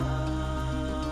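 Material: Nothing is struck.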